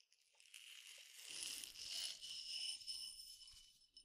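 A clear glass tumbler partly filled with peppercorns is tapped on its side and rim with fingertips and nails. The result is a soft, bright, high-pitched clinking with a faint rattle of the dry grains, and short ringing tones that fade quickly.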